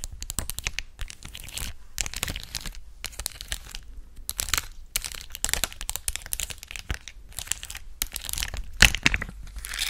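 A flat, thin clear plastic sheet of colorful acrylic gem stickers is held close to the mic and scratched, tapped and crinkled with long acrylic nails. Dense bursts of bright, crisp crackling and crinkling come in clusters separated by brief pauses, with one sharper, louder crack near the end.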